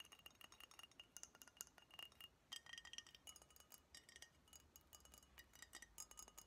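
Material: Glass.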